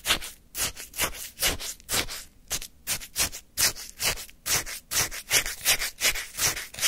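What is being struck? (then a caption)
Frozen lemon shaved-ice sorbet in a paper cup, scraped with a wooden spoon. A flat wooden spoon, held by the fingertips, digs into and scrapes pale lemon shaved-ice sorbet topped with a lemon slice in a hand-held paper cup. Bright, crisp, crunchy scraping bursts repeat at an uneven pace of roughly two or three per second, with short quiet gaps between strokes.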